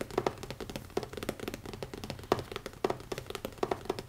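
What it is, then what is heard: Leather-covered hardcover notebook. Fingertips tap fast on the front cover of a small, closed black leather-covered hardcover notebook with an elastic band, resting on a wooden table. A rapid, uneven run of soft, dull taps with a low-mid knock sounds, each dying away almost at once, with a few louder hits standing out.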